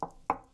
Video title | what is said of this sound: HiFi On A Budget with Fosi Audio! (Luna3, ZA3, ZP3, ZD3, SP601 and more!) | sound just a little bit thinner and a little bit lighter